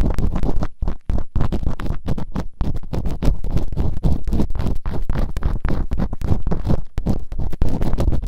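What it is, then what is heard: Silicone ear microphone scratched with earpicks. Bamboo earpicks held in long-nailed fingertips scratch and rub rapidly inside the open canals of both soft silicone ears on a white binaural microphone. The result is a dense, continuous stream of fast, deep, rumbling scrapes and scratches with very little high end.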